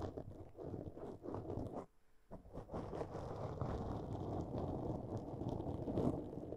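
Long nails scratch across a black foam windscreen on a microphone, making a dense, muffled rustling and crackling that sits mostly in the low and middle range. The scratching breaks off briefly for a near-silent pause around two seconds, then resumes as a steady, continuous scrape until the end.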